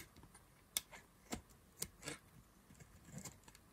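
A hand-held solid white rectangular bar of dry soap is scraped and carved with a black knife blade, producing crumbly shavings. Quiet, dry, bright scraping clicks and short crisp scrapes sound with almost no ring, including six sharper hits.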